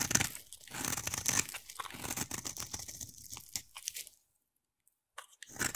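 A utility knife blade scrapes and carves a solid, hand-sized oval bar of yellow soap, shaving off curls. Dense, crisp, bright crackling and scraping run for about four seconds, then stop for about a second before the cutting resumes.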